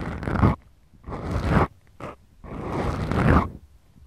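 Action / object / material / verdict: scrape / foam microphone windscreen / foam / none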